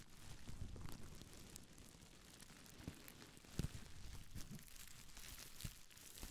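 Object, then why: Plastic bubble wrap. A small folded bundle of clear plastic bubble wrap, held close to the microphone, is crinkled and scratched with long nails and fingertips. The sound is a quiet, continuous crackling with a heavy low-end rustle and occasional sharper, brighter crisp snaps.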